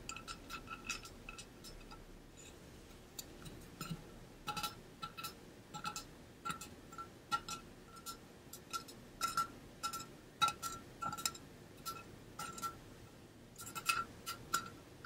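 Fingernails tap quickly on the painted body of a hollow, pink-blue ombre insulated metal water bottle held upright by the ear. Light, clicky taps come in uneven bursts, each with a brief bright ping around 1.3 kHz that fades almost at once.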